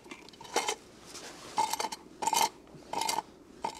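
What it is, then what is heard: Broken dual-mass flywheel that rattles. A steel dual-mass flywheel and clutch assembly removed from a Mercedes CLA is shaken, giving five short bursts of bright metallic rattling and clinking with a ringing tone near 900 Hz. It is broken: its damper springs and cushioning parts are destroyed, so the flywheel moves freely and rattles.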